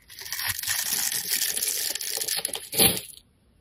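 A metal utility blade scrapes and carves ridges and shavings from a handheld solid bar of soap, half yellow and half lilac, held by fingertips with painted nails. A steady, bright, crisp scraping runs for about three seconds and rises to a sharper, louder cut near the end before stopping.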